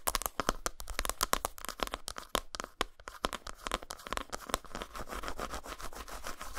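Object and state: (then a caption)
Dark chocolate bar. Long nails scratch and tap the dotted top surface of a solid, flat dark chocolate bar lying textured side up on a towel. Quick, dry, clicking taps come first, then blur into denser, continuous scratching with a bright, crisp edge and very little ring after each contact.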